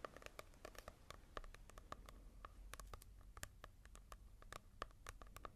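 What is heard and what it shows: Fingertips tap and scratch quickly across the glossy cover of a manga volume, the slick surface contrasting with a matte-covered one. The result is a rapid, irregular series of quiet, dry clicks with a slight hollow ring around 1.2 kHz, each dying away almost instantly over a faint scratchy hiss.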